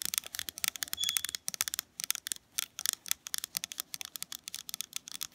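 Fingernails tap and scratch the side and flat bottom of a small, round, lidded metal soy candle tin filled with wax. The result is a rapid, uneven string of dry, bright clicks with no ring, and a brief scratchy swell around the one-second mark.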